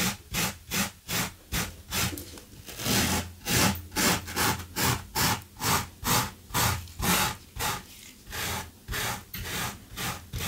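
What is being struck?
Low-pile fabric carpet runner.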